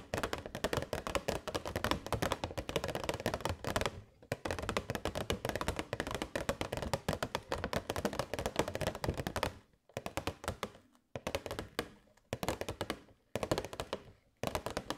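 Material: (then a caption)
Plastic. A hollow, transparent plastic box holding LED fairy lights is tapped rapidly with long white nails. The result is dense bursts of short, dry clicks and light thunks with a hollow mid-range tone, broken by brief pauses before the tapping resumes.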